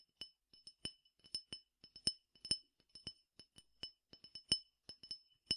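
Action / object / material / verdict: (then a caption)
tap / glass tumbler partly filled with peppercorns / glass / none. A clear glass tumbler partly filled with peppercorns is tapped with fingernails, giving about 18 quick, bright clinks at an irregular pace. Each tap is sharp and high-pitched, with a short glassy ring that fades almost at once.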